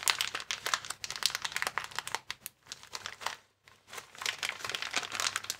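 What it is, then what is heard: Plastic air-column cushion bag. Hands lift, bend and squeeze a transparent, air-filled plastic air column cushion bag with vertical air columns. Dense, bright crinkling comes in rapid bursts, mostly high-pitched with almost no low end. There is a brief near-silent pause just past the midpoint before the crinkling picks back up.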